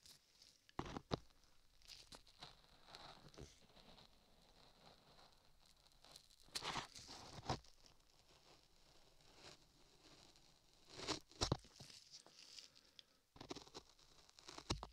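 A gloved hand holds a 3Dio binaural microphone ear covered in a solid lump of beige modeling clay while a metal chisel scrapes and carves the clay. Close, quiet scraping and crackly, tearing-like rasps are heard with soft rustles, broken by several sharper, brighter bursts as the chisel digs in.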